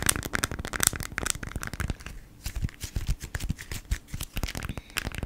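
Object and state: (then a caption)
Beeswax-coated cotton food wrap. A folded beeswax-coated cotton food wrap is scratched with long nails, giving dense, bright crinkly scratches and crackles with a dull low rustle beneath. After a brief quieter moment just past two seconds, the wrap is turned and handled, producing softer rustling, stiff crinkles and light taps.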